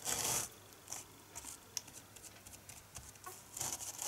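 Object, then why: Foam kitchen sponge with abrasive scouring pad. Fingertips and nails rub and scratch across the rough green abrasive scouring layer of a small rectangular dish sponge made of red polyurethane foam, held in the hands. Bright, dry rasping scrapes come in louder bursts at the start and end, with quieter, scattered scratches in between.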